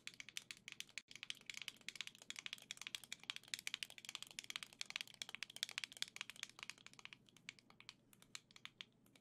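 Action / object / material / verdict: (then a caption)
tap / plastic controller grip / plastic / none. Long nails tap and scratch a black and gold hollow plastic Nintendo Switch Joy-Con grip held close to the microphone. The result is a quiet, rapid stream of bright, dry clicks and scratchy ticks, centered around 3.4 kHz, with almost no low end and no ring. There is a brief moment of silence near the one-second mark.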